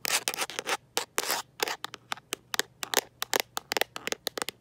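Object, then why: Rubber and plastic phone case tapped and scratched by nails. A smartphone in a mint-green rubber and plastic protective case, held in one hand, is tapped and scratched by long nails fitted with metal paperclips. Brief scratchy rubbing bursts give way to a quick, irregular run of sharp, bright clicks and taps, each dying almost instantly.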